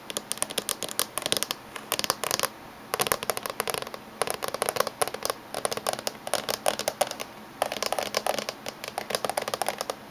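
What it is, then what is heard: Laptop casing tapped with fingernails. Fingernails of both hands tap rapidly on the top surface of a closed silver laptop casing, producing bursts of quick, dry, bright clicks. The taps come in dense flurries separated by brief pauses, each click short with almost no ring.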